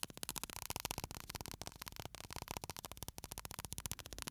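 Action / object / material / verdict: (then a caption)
shake / small glass bottle with sand inside / glass, sand / none. A small glass bottle full of pale sand, with a metal cap, is held upright in one hand and shaken so the sand moves inside. The result is a quiet, rapid, uneven stream of short, crisp rattling ticks with a bright, hissy edge that stop almost instantly, continuing throughout the clip.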